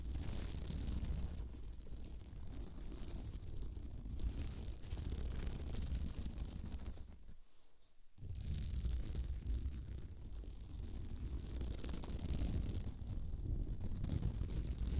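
Long decorated nails scratch and tap across a round, flat, sparkly beaded woven glitter placemat laid over a binaural microphone. The result is a dense, continuous gritty rasp with a heavy low rumble and a faint bright hiss. It drops to near silence for about half a second around the middle before the scratching resumes.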